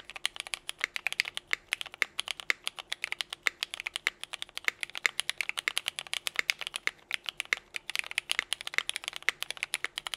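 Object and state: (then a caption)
Mechanical keyboard with plastic keycaps. A compact 60% mechanical keyboard, the Nika S Tiffany with Cherry Vintage Black switches, a teal case, and white and pink GMK KA2017 ABS keycaps, sits on a desk mat while both hands type steadily with their fingertips. A rapid, continuous stream of short, bright plastic clacks is heard, each key strike dying away almost instantly with no low-end thump.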